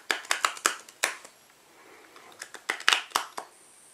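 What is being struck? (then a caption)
Cardboard playing card box. A small black cardboard playing card box is held in one hand while fingertips and nails tap and squeeze its sides and flap. Twelve sharp, bright, dry clicks ring out, grouped at the start and end with a quiet rustling pause in the middle. Each tap dies away almost at once.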